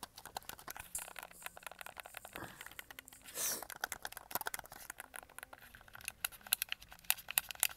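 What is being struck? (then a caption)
Plastic game controller. A white and red hollow plastic Xbox controller is held in both hands while fingertips tap its shell and press its buttons and triggers. A quiet, dense stream of light, bright plastic clicks and taps follows, with a brief soft rustling swell midway. The clicks become sharper and more pronounced toward the end.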